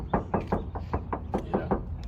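A stainless steel door panel on a Cybertruck is knocked in a quick, steady series of short, hollow knocks with a low-mid body and little ring. The thin panel sounds a little tinny, weaker than the steel on the back of the truck.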